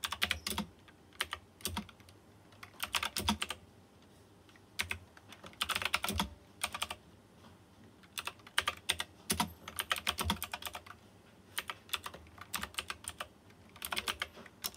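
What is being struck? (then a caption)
Plastic mechanical keyboard with round metal-rimmed keycaps. Fingertips type on a white plastic mechanical keyboard with round chrome-rimmed keycaps. Bursts of sharp, bright clicks and clacks come in uneven clusters separated by short pauses, each keystroke dying away almost instantly.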